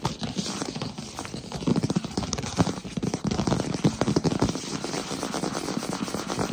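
Fingertips with short nails tap and scratch rapidly on a solid wood-look plank floor. The result is a dense, continuous run of short, dry knocks with low, woody thuds and a faint scratchy rasp, each tap dying away almost instantly.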